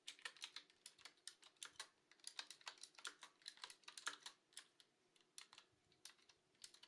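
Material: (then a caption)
Plastic. Long fingernails type steadily on a black Qwerkywriter S retro mechanical keyboard with round plastic keycaps. A quick run of sharp, bright clicks and clacks, each dying away almost at once with no low thump, briefly thins out near the five-second mark before picking back up.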